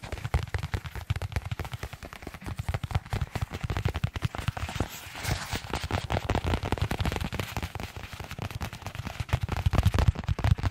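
A small white paper envelope or folded paper is held in both hands and crinkled and flexed with the fingertips. It gives a dense stream of sharp, dry crackling bursts with a heavy low thump under each crackle and little high content. The crackling swells and eases over about ten seconds.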